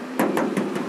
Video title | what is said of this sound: Daihatsu Granmax Pickup 1.3 Standar 2011 harga 60 jutaan | Kalau ngaleng ya bunyinya seperti ini gitu. Kecuali kalau mobil ini udah naik dempul, berarti dia namanya pek gitu.